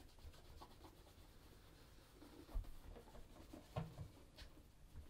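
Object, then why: Leather ankle boot rubbed with a cloth. A brown polished leather Crockett and Jones Coniston ankle boot, hollow inside, is held in one hand while it is rubbed and buffed with a red cloth wrapped over the fingers of the other. The result is a quiet, low, soft scuffing and rubbing, broken by two brief, dull thumps.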